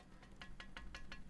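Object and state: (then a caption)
Loose sword guard. Five quick, faint metallic clicks come from the loose steel guard of a reproduction Danish war sword as it is moved. The guard is a little loose and rattles against the rest of the sword, over a low steady hum.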